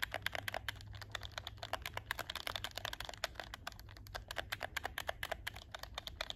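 Fingertips rapidly click the shoulder buttons and triggers of a hollow black plastic PS4 game controller held up close, and tap its plastic shell. Dozens of short, dry, bright plastic clicks and taps come in quick succession, each dying away almost instantly over a faint low hum.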